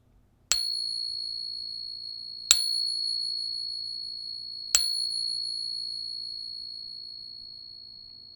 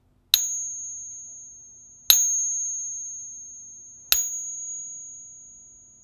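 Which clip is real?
The first.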